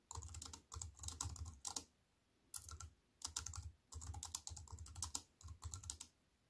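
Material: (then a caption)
Plastic. Both hands with long nails type steadily with their fingertips on a compact aluminium-framed wireless keyboard with black plastic keys. Quick, dry key clicks with bright high ticks and soft low thumps come in short bursts separated by brief pauses.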